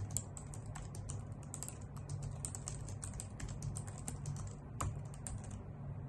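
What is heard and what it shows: Long nails and fingertips type on a white full-size plastic computer keyboard with hollow key caps, making a quick run of sharp, bright clicks. The clicks are dry and short, over a steady low hum.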